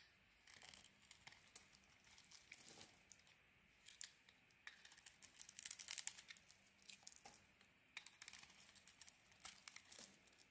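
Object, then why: Soap bar shaved with a small metal blade. A small metal blade shaves and carves a red and white solid bar of soap. Quiet, crisp scraping and crackly shaving bursts come in clusters with short pauses, bright and thin with almost no low end. Each stroke stops dead, with no ring after it.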